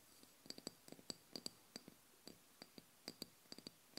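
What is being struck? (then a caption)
Small glass oil bottle tapped with fingernails. Long blue nails tap on the glass body of a small amber glass oil bottle with a black cap, filled with liquid. A quick run of sharp, bright clicks comes in uneven bursts over a faint hiss, each tick fading almost at once.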